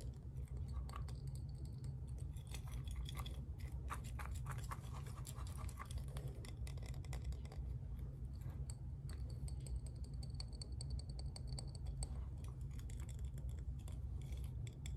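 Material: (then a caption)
Glass. A large clear glass mason jar with a metal screw lid, filled with a dark granular material, is held in both hands and tilted and turned upside down so the contents shift and pour inside. A steady low rumble runs underneath fine, scratchy, crunching rustles of the granules, with brief bright ticks scattered throughout at a quiet, even level.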